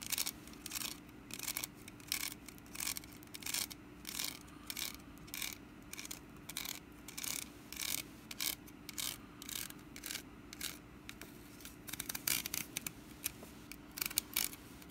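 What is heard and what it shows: Long nails scratch and tap the woven sides of a small, hollow, orange wicker pumpkin basket held in one hand. The result is a steady run of dry, bright scratches and crisp taps that stop at once, over a faint, steady low hum.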